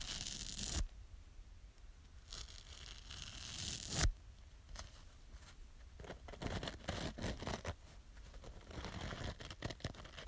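Long nails repeatedly scratch the green abrasive side of a small yellow foam kitchen sponge with a scouring layer. The result is a series of dry, bright scratching and tearing sounds with a low rumbling underneath. Two louder, longer strokes stand out early on, followed by quicker, uneven scrapes.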